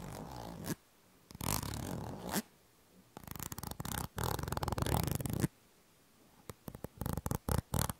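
Long painted nails scratch and tap the surface of a small yellow plastic squeeze tube of cream held close to the microphone. Dense, rasping scratching bursts alternate with pauses, ending in a series of quick, sharp taps. The sound is close and low-heavy with a dry, crackling texture.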